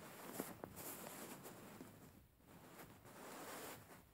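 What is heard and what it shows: Long fingernails scratch and pinch a soft, stuffed white cotton pillow with raised floral embroidery. The result is a quiet, steady, bright scratchy rustle of fabric, with a few sharper little ticks early on, and it fades slightly at the end.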